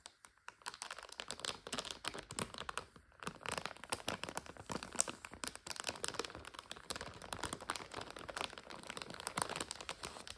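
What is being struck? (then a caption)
Plastic bag of dry egg noodles. Long red striped nails squeeze and scratch across a clear plastic bag with a printed card label, about 400 g and full of dry egg noodles, resting on a couch. The result is a steady, quiet stream of bright, dry crinkles and sharp crackles with very little low end, dropping briefly near the three-second mark before continuing.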